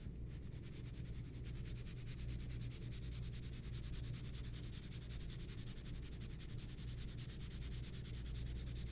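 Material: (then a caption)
Paper. A mechanical pencil held in the fingertips shades a pencil portrait in progress on a large flat sheet of white drawing paper lying on a table, rubbing across the surface in short, rapid, repeated strokes that may be sped up. A steady stream of dry, bright scratching strokes runs the whole time over a constant low hum, with no pauses.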